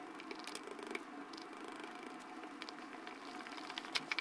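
A light-blue plastic spatula presses ridges into pink and yellow foam slime in a small clear plastic jar and stirs it. A quiet, steady bed of soft crackling and wet squishing runs throughout, with irregular fine popping that turns into a few sharper, brighter pops near the end.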